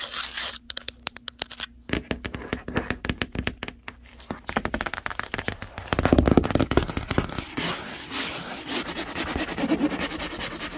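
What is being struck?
Large cardboard box.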